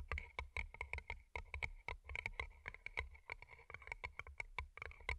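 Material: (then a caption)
Plastic, paper. Long glittery nails tap and scratch two small, hollow, empty paper cups turned upside down and covered in colorful plastic rhinestones, working over the rhinestone sides and the cardboard bases with earbud mics underneath. The result is a fast, irregular stream of sharp, dry clicks with almost no ring and a bright, glassy tone, with a low thump under many of the taps.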